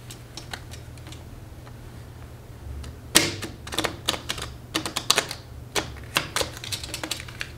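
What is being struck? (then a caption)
Deck of paper playing cards. A standard deck of thin coated-paper playing cards with blue backs is split into two halves and riffle-shuffled by hands with long acrylic nails just above a glass table. After a quiet stretch of faint ticks, a burst of sharp, bright clicks and snaps begins around three seconds and continues in quick, uneven bursts to the end.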